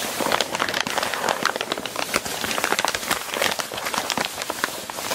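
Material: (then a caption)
Paper. Long nails tap and scratch across a crumpled sheet of brown kraft packing paper lying flat, moving over the sheet. The result is a steady stream of dry, crackling taps and papery scrapes with a bright, crisp edge and almost no low end.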